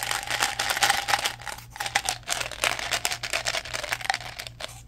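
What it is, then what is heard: Plastic gum bottle. Fingertips handle a small, hollow blue plastic Mentos gum bottle, opening and closing its flip lid, tapping it and crinkling its label. The result is a dense run of quick, dry, bright crackles and taps with a faint tonal ring near 800 Hz. A soft pulsing low hum runs underneath.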